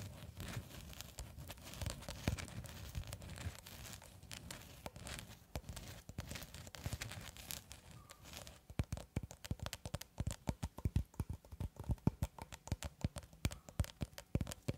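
Long red acrylic nails tap and scratch the surface of a long cylindrical roll of clear plastic cling film held horizontally. The first half is a steady crinkly scratching and rustling. After about eight seconds it turns into rapid, sharp, dry taps that click one after another.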